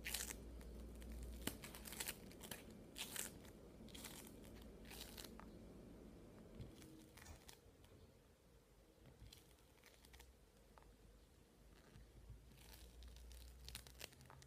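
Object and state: Bead-based modeling foam (playfoam).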